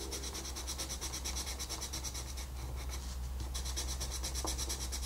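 A wooden colored pencil rubs back and forth over a flat paper coloring book page while shading. It makes quick, steady, bright scratchy strokes over a constant low hum, with a brief looser stretch in the middle before the even strokes resume.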